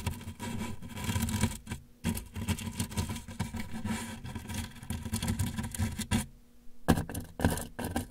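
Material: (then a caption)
Cardboard. A hand resting at the right side of a large, closed, hollow corrugated cardboard shipping box scratches and rubs the box's side with the handle of a thin brush. The result is a continuous, dull, hollow scraping with a boomy low resonance. Brief pauses come near two seconds and again between about six and seven seconds.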